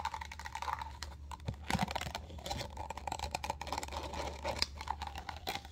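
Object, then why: Clear plastic cup. Long gold acrylic nails quickly tap and scratch a small, empty, hollow clear plastic cup with a textured dotted pattern, held upside down. The result is a rapid, dense run of light clicky taps and scratchy rasps over a steady low hum.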